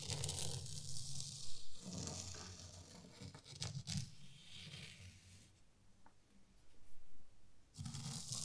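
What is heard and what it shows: A small rake is dragged slowly through fine white sand in a wooden zen garden tray. It makes a soft, grainy scraping with bright hissy rustle over a heavy low rumble, in uneven strokes that swell and fade. The sound quiets in the middle, then returns to a fuller scrape at the end.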